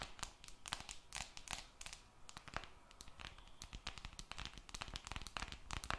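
A glass and aluminum smartphone held beside the mic is scratched and tapped by long red nails. Quiet, rapid clicks and bright scratching strokes overlap throughout, with frequent sharp taps that stop almost instantly.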